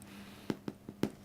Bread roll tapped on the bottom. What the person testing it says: a really good way to know if they're done is that there's a little hollow sounding noise that they make if you tap the bottom